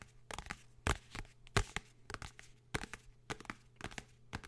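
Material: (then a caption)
Cardboard. A blue hardcover book is tapped and scratched, giving a run of short, dry taps with quick decay mixed with bright scratching swipes across its surface. The sounds vary noticeably from one stroke to the next over a steady low hum.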